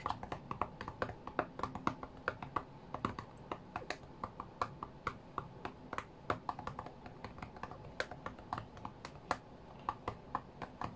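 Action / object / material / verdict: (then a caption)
tap / glass tablet touchscreen / glass / none. Fingertips of both hands tap rapidly on the glass touchscreen of an iPad tablet lying flat on a cutting mat, as if playing a rhythm game. The result is a quick, uneven stream of short, dry clicks and taps with bright, sharp edges, each dying away almost instantly over a soft, low background.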